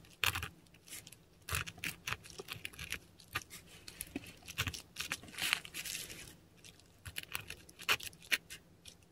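A metal dip pen nib scratches across a flat sheet of textured Korean paper while writing Cyrillic letters. Bright, dry scratches and ticks come in dense bursts with short pauses between strokes, with a faint low hum underneath.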